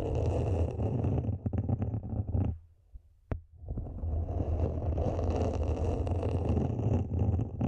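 Long nails scratch the top rim and sides of a small, matte black, hollow plastic mini planter, making a dense, rough scraping with a heavy low rumble. Near the middle the scratching briefly drops almost to silence, broken by one sharp tick, then it resumes as steadily as before.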